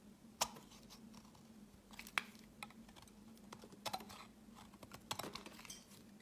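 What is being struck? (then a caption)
Bar of soap cut with a knife blade. A utility knife blade shaves a solid pale green oval soap bar into hard, flaky chips. Sharp, crisp, bright scraping clicks come at an irregular pace over a faint steady low hum, each one dying away almost instantly.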